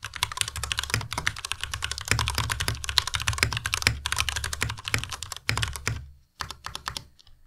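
A compact white Ducky Miya Pro mechanical keyboard with white plastic keycaps and Cherry MX Red switches is typed on continuously with the fingertips of both hands. The result is a rapid stream of short, bright plastic clacks over a low thud from each keystroke, with a brief pause near the end before a few final taps.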